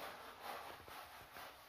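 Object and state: Nothing is struck.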